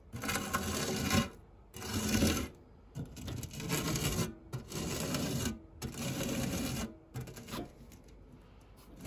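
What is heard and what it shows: A white silicone spatula's flat side is rubbed across the textured base of a round, dark non-stick metal fluted tart tin that still holds crumbs. Several bursts of broadband scraping and rasping, each about a second long with brief pauses between them, fade to quieter rubbing at the end.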